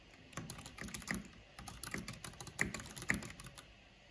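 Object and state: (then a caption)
Plastic mechanical keyboard. Fingertips and long nails type on a black plastic mechanical keyboard with a purple backlight, tapping the keys. Irregular, quick clicks and clacks come in loose bursts, each a bright tick over a low thock that dies away almost at once, with a few sharper, louder taps standing out.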